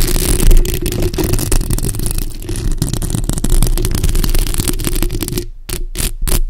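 Long acrylic nails scratch the sides and lower part of the hollow metal mesh grille on a bare black microphone. The result is a dense, continuous, low-heavy rasping rumble with crackly detail and a steady low hum. Near the end it breaks into a few short, separate scratching strokes.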